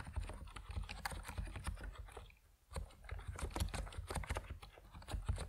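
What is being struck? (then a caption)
Plastic mechanical keyboard with PBT keycaps. Fast fingertip typing on an Epomaker NiZ Plum Atom 68, a compact plastic mechanical keyboard with white and purple PBT keycaps. Dense clicky keystrokes with a deep low thock run nearly continuously, pausing briefly just before the three-second mark before resuming.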